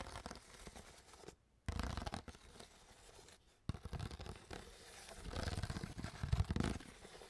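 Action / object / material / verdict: scrape / crushed plastic water bottle / plastic / none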